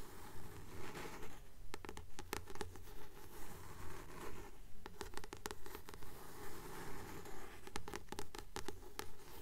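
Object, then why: Paperback book with glossy card cover. A blue paperback book with a glossy paper cover, held in both hands, is scratched and tapped on its card cover with long nails. About two dozen short, crisp taps come at a steady, even pace over scratchy rustling, with a low hum underneath.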